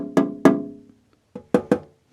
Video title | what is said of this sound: Build acrylic turntable cover - plexiglass box DIY | kind of hear that metallic ring well acrylic isn't resonant like polystyrene is